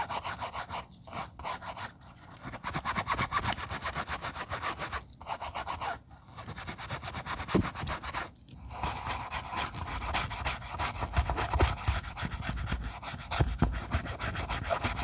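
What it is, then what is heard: Leather ballet flat lining being brushed. A wooden bristle brush scrubs the foamy leather lining inside a black quilted leather ballet flat. The sound is a steady, rapid back-and-forth bristly rubbing and scratching, with short pauses, and it grows busier and louder in the last half.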